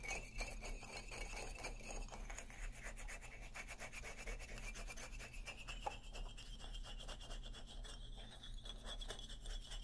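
Fingernails scratch and rub the solid hardwood bars of an upright xylophone, making a steady, quiet, rapid rasping. A bright resonant band near 2.5 kHz slowly rises toward 3 kHz over a constant low hum, with one sharper tick near the six-second mark.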